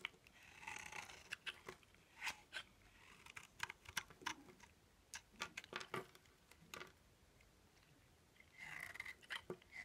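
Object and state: Dry bar soap.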